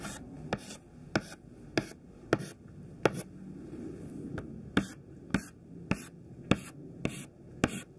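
Thin white classroom chalk held in the fingertips taps out rows of short tick strokes on a black chalkboard. About twelve sharp, dry clicks land roughly every half second, each bright and gone almost instantly, with soft scratchy rubbing and a faint steady hum in between.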